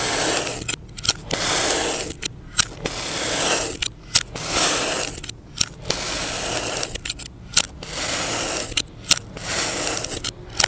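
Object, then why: Kinetic sand mound cut with a blade. A utility knife blade slices slabs off a solid, palm-sized mound of yellow kinetic sand, with a blue sand dome sitting untouched nearby. Long, gritty, bright hissing scrapes run in repeated strokes, separated by brief quiet gaps and short sharp clicks as the blade cuts through and lifts away.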